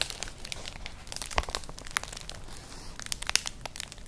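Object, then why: Woven straw clutch bag. A flat, colourful, hollow woven straw-like clutch purse is scratched with long nails. The result is a dense, crinkly scratching texture, mostly bright and high. Sharp crackling ticks stand out, with the loudest near 1.4, 2.0 and 3.3 seconds.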